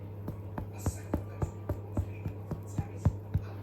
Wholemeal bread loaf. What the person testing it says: knock the bottom of the loaf to see if it sounds Hollow and then that'll tell me that it's cooked